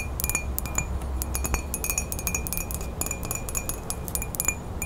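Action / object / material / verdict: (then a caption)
tap / ceramic mug / ceramic / none. Long fingernails tap rapidly on the side of a ceramic coffee mug with a woodland print, held in both hands. The taps make quick, bright clinks with a ringing tone near 2.4 kHz that dies away almost at once, over a low rumble.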